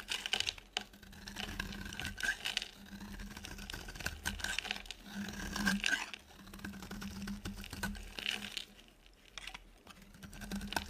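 A dry, solid oval yellow soap bar with a ridged top is held in the hand and shaved with a utility knife blade. The clip is filled with dense, crisp scraping and cutting sounds, bright and crackly. A steady low hum sits underneath.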